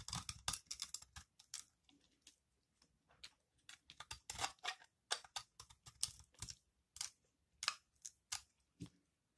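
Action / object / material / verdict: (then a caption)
scrape / soap bar scraped by a metal blade / soap / none. A metal blade scrapes and shaves a palm-size solid green bar of dry recycled soap held in the hand, sending crumbly curls falling onto a table. Roughly two dozen quick, dry, crunchy scrapes come in bursts, bright and hissy with almost no low end, each stopping abruptly with no ring.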